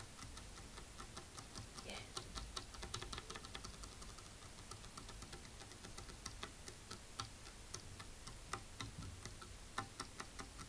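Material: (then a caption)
Wood. Fingernails tap on a wooden table in a quick, uneven run of short, crisp clicks. Each click dies away almost at once over a steady low background hum.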